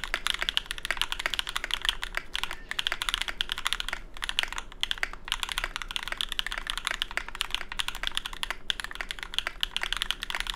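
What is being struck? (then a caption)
Mechanical keyboard, ABS keycaps on aluminium plate. A small 65% mechanical keyboard with a Tofu65 case, aluminium plate, GMK ABS keycaps and lubed Cobalt switches sits on a deskmat and is typed on continuously with the fingertips of both hands. It produces a rapid, steady stream of short, crisp keystroke clicks with a bright, clacky tone around 3.3 kHz and almost no ring after each press.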